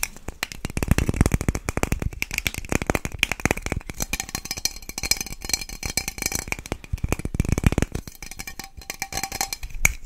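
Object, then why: Aluminium aerosol can with plastic cap. A tall aluminium Batiste dry shampoo aerosol can, with a metal body, a plastic cap, hollow and pressurised, is held in both hands close to the microphone. Fingernails tap and scratch rapidly along the can and near the cap. The result is a dense stream of short, dry clicks with a low hollow thump under a bright scratchy texture and faint metallic tones.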